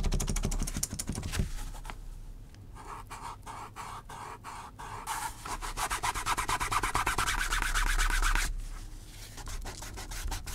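A metal awl tip is scratched repeatedly across a flat, thin panel of natural vegetable-tanned leather lying on a cutting mat. Quick, fairly steady strokes produce a dry, raspy scratching with a bright hiss and a low rumble underneath. The rubbing swells louder and denser through the middle before easing back to lighter strokes.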